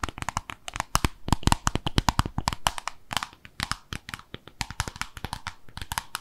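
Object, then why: Small glazed ceramic soap dish tapped with fingernails. A small white-pink glossy oval ceramic soap dish with drain holes, peg feet and a hollow underside is held in both hands and tapped and scratched with long acrylic nails. Rapid, irregular, sharp clicks and taps die away almost instantly, each with a low hollow knock beneath a bright tick. Soft scratchy scraping fills the gaps between them.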